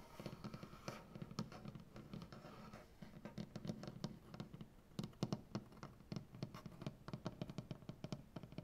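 Fingernails of both hands scratch across a solid light wood butcher block tabletop. Quiet, dry scratches come in quick bursts, with sharp little clicks and a low, woody body that dies away almost instantly.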